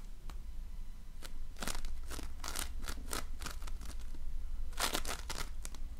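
A donut-shaped ring of floam, slime packed with polystyrene foam beads, is pressed and squeezed with fingertips and nails. It gives a run of bright, crackly crunches and crinkling pops over a steady low rumble, with the densest cluster near the end.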